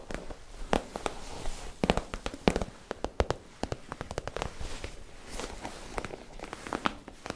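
Long nails tap and scratch a holographic PVC zip pouch with a store tag attached, and the pouch is held near the mouth at the end. Rapid, sharp plastic clicks and crinkly scratches fall over a soft rustling bed, with bright crackle and no ringing after each tap.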